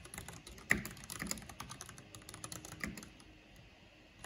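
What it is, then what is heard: Plastic mechanical keyboard being typed on. Rapid key tapping with long painted fingernails and fingertips on a full-size black plastic mechanical computer keyboard with a purple backlight and hollow housing. The clicks are short and bright, mixed with hollow low thuds, and one sharper, louder click stands out near the start before the typing tapers off.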